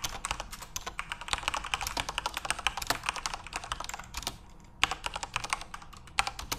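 Tattooed hands type rapidly on a full-size plastic Corsair mechanical keyboard with RGB backlighting, fingertips tapping the keys. A dense stream of short, bright clicky keystrokes runs throughout, broken by a brief pause just before the five-second mark, then resumes with a few sharper taps.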